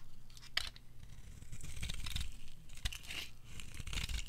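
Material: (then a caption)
Soap. A purple bar of dry soap held in the hand is carved and scraped with a metal blade, giving crisp, brittle scraping and crackling with bright, sharp high-end snaps over a low background rumble. The blade shaves off brittle purple flakes.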